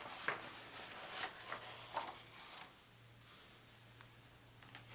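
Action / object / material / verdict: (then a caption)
scrape / thin paper pages of a large book / paper / none. Fingertips grip the edges of the thin paper pages of a large open world atlas, flipping and rustling them. Bright, crisp crackles and rustles rise above a quiet low hum, with sharper flicks near the start before the sound settles into softer rustling.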